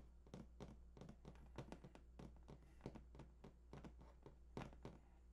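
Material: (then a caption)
Cardboard. Fingertips tap and scratch the printed front face of a large, hollow cardboard PS4 console box lying flat, its contents not visible. A rapid, uneven series of soft, dull, hollow taps with short scratchy brushes sounds over a steady low hum, each tap dying away quickly.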